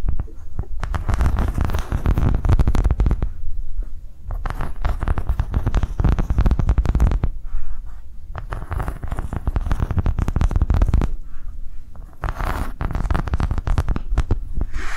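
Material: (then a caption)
Silicone. A thin, flexible, ridged green silicone coaster is held tilted and scratched along its edge ridges with long nails. The result is a dense, fast stream of dull scratching and ticking, heavy in low, rumbling tones, that comes in steady bursts with brief quieter dips between them.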